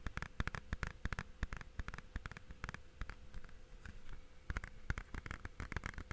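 A blue plastic Blu-ray/game case, held flat, is tapped on its face and edges with fingertips and nails. A rapid, irregular run of short, dry taps and clicks, each dying out almost instantly, rises over a faint steady hum, with bursts of quicker tapping near the start and end.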